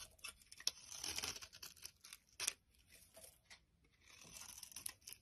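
A utility knife blade scrapes and shaves the surface of a solid, hand-sized rectangular olive-green soap bar held in the palm, producing dry crumbly flakes. Quiet, bright, dry scraping and crackling comes in short bursts with sharp clicks, sitting almost entirely in the high range with very little low end.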